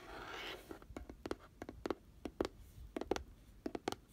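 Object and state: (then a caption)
Glitter-coated cardboard box. Fingernails tap the rim and glittery side wall of an open, hollow, pink glitter-coated round cardboard box. A brief soft, scratchy hiss opens the clip, followed by a quick, irregular series of light, dry, hollow clicks that die away almost instantly.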